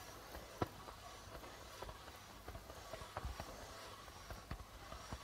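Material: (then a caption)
Plastic. A hollow darbuka drum with a white plastic membrane and a reddish body is tapped on its membrane with the fingertips of both hands. The result is soft, scattered, quiet taps with low thuds and brief bright clicks over a steady low hiss.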